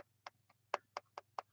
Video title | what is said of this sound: Whats On Everybody's Mind (Take 7) | A lot of the cheaper phones use a plastic screen, not the Gorilla Glass, and I can actually tell this is real glass. As a matter of fact, you can tell by the sound.